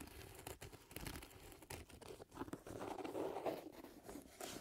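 Fingertips scratch and squeeze the leather upper of a hollow, empty black leather lace-up boot with metal eyelets and a padded collar, held in both hands. The result is a quiet, irregular run of crinkly scratches and soft crunches, with brief dry rustles that stop quickly.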